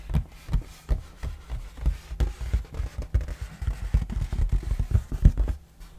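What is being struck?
Cardboard game box lid.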